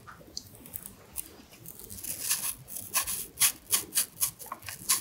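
A small carving knife with a blue handle scores and scratches the skin around the stem of a whole fresh red apple held in one hand over a plate. Faint, bright scratching grows into a run of crisp, high, evenly spaced scraping strokes that get louder over the last couple of seconds, each cutting off quickly.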